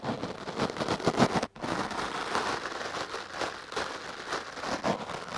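A stiff-bristle wooden clothes brush is swept quickly back and forth over a foam microphone windscreen, giving dense, crackling brushing and scratching strokes. A brief silent gap breaks the strokes partway through before the scratching resumes at a steady level.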